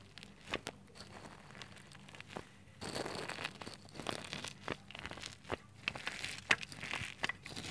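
Bare fingertips press into a pile of fine white shredded soap strands on a clear glass plate, crunching them. Soft, bright crackles and crisp snaps come in scattered bursts, growing denser and louder after about three seconds. Each crunch stops almost instantly with no ring.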